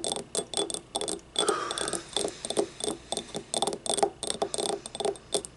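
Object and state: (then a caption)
Ceramic paint cup. A small, hollow, empty yellow ribbed ceramic paint cup is tapped with long nails, then picked up and tilted. A quick, uneven series of short, dry clicks follows, each with a bright, high tick and a brief hollow ring around 400 Hz. Just after the first second, a short, clearer ringing tone sounds higher up before the tapping resumes.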